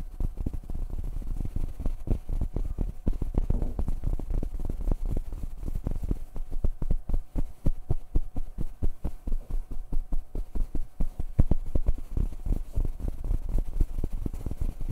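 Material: Fabric.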